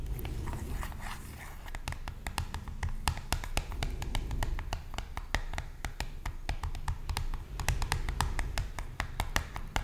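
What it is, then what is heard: Cardboard product box. Long nails tap and scratch the faces of a small, hollow, blue printed cardboard box, like toothpaste packaging, held in one hand. A steady run of quick, dry, bright clicks rises over a low, dull rumble, with softer scratching noticeable in the first two seconds. Each tap dies away almost instantly.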